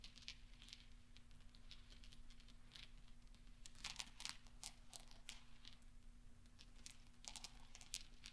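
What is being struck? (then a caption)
Small steel balls. Fingertips and nails push small, solid steel pachinko balls into a pile on black velvet, making dense, quiet clinking. Bright, sharp ticks and clicks scatter throughout with almost no ring, over a steady low hum.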